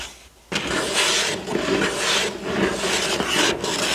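Fingertips and nails of one hand scratch and rub the front of a hollow, printed cardboard building-block box lying on a table. After a brief near-silence, a steady, dry, bright rasping begins, swelling and easing in long strokes with a light papery hiss.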